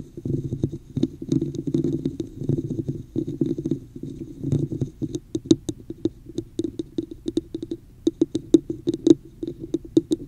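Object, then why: Textured plastic cup. Long fingernails of both hands scratch the top and sides of a hollow red plastic cup with an embossed pattern, held over the microphone. A dense, rough, low scratching texture fills the first half, then gives way to sharper, separate ticks and clicks with bright overtones. The sound is close, dry and hollow.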